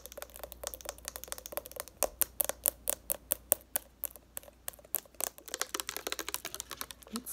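Long nails tap rapidly along a partly full, lavender-colored plastic Neutrogena makeup remover bottle. The result is a dense stream of short, crisp clicks with bright high-frequency ticks and almost no ring, some taps louder than others.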